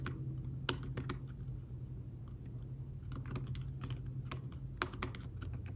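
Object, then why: Thin fabric-covered folio keyboard. Fast fingertip typing on a thin folio tablet keyboard with fabric-covered keys produces soft, dull taps in quick bursts, with a few sharper clicks standing out. A steady low hum runs underneath throughout.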